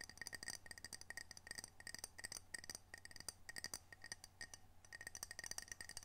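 A small, solid, square glazed ceramic coaster with a whale print is held in both hands and tapped rapidly with long fingernails on its glossy face. Each tap is a short, bright, glassy click with a clear tone around 2 kHz and a high ringing overtone that dies almost instantly. A faint, steady low hum sits underneath.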